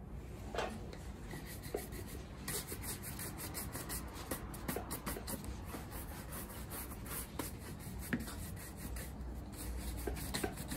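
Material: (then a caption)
Leather. A black leather lace-up Red Wing Iron Ranger women's work boot, worn on a foot and resting on a shoe-shine stand, has its right boot brushed back and forth with a wooden-handled horsehair brush. Steady, soft swishing strokes with a bright bristly rasp repeat over a low background rumble, with a few sharper brush scuffs standing out.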